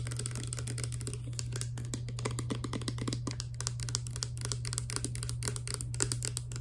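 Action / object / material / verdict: tap / small plastic pump bottle with liquid / plastic / none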